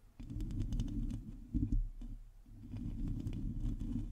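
Long glossy teal acrylic nails of both hands scratch and tap the hollow domed metal mesh grille of a black microphone. Heavy low, rumbling scraping fills the clip, dotted with short bright clicks from the taps, with a brief lull around the middle before the scratching swells again.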